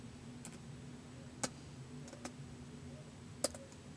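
Fingertips slowly tap the keys of a white plastic laptop keyboard, making sparse, short, crisp clicks with bright tops. The clicks sit over a steady low hum.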